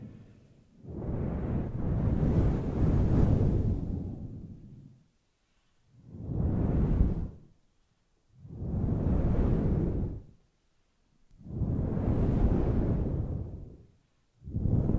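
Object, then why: Synthetic fur microphone windscreen. Long nails scratch and fingertips rub a large, fluffy grey synthetic-fur microphone windscreen from both sides. The result is five separate swelling bursts of deep, muffled rumbling whoosh, mostly low with almost no high content, and the last burst is cut off at the end.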